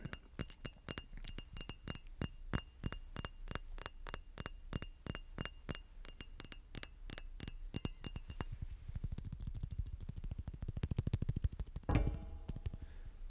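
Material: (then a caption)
Glass. Quick, sharp clinks from a glass bottle being tapped repeatedly, fast and steady for the first eight seconds, then softer and denser with a low rumble underneath. A louder knock near the end stands out before the tapping continues.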